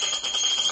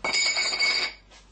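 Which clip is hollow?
The second.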